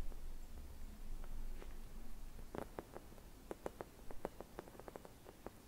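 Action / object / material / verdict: tap / thin glass bauble / glass / none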